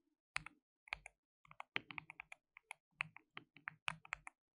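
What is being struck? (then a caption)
Plastic mechanical keyboard. Fingertips type rapidly on a white RGB-backlit compact mechanical keyboard with plastic keycaps and a hollow case. Quick bursts of bright, sharp clicks and clacks with a light hollow thock underneath follow one another in uneven runs. Each keystroke stops almost instantly, with short gaps between the runs.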